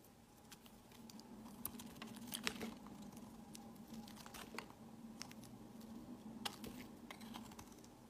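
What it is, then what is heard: Soap bar being carved. A metal utility knife blade scrapes and carves a hand-sized solid white bar of soap, shaving off curls and powdery flakes. Quiet, dry scraping is broken by sharp, bright crackling ticks, over a faint steady low hum.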